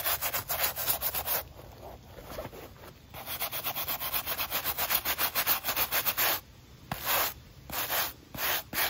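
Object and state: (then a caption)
Bristle brush scrubbing a running shoe's foam sole. A wooden-backed natural bristle brush scrubs along the white textured foam midsole of an empty black mesh running shoe. Bright, hissy scratching comes in quick back-and-forth strokes, first in rapid runs and then in shorter separate bursts with quiet gaps between them.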